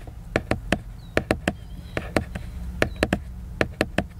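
A book's surface is scratched with the fingers, making a rubbing sound, along with 15 short, sharp, dry taps and clicks in an uneven rhythm. Each tap stops almost immediately, with faint scratching between them over a low steady hum.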